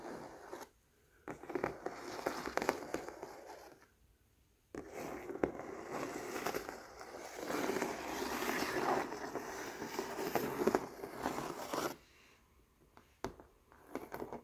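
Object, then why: Acrylic painting on canvas. Fingernails scratch and a palm rubs over the raised acrylic paint of a textured floral painting on canvas, making dense, dry scraping and rustling. The sound comes in two long bursts separated by a brief quiet pause, then fades to near silence with a few faint scattered taps.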